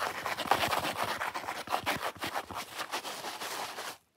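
Long fingernails scratch fast and aggressively across a solid, watermelon-shaped foam sponge, raking both the foam rind edge and the red face. The result is a dense run of dry, bright scraping strokes that stays steady for about four seconds, then drops off into near silence.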